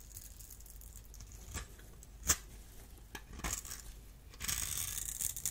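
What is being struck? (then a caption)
Bar of soap scraped with a small metal blade. A solid, dry blue bar soap held in the hand has its cubed surface crumbled and scraped with a small metal blade. Soft crumbling is heard, then a sharp crisp snap near the middle, followed by louder, bright, sustained scraping and crackling toward the end.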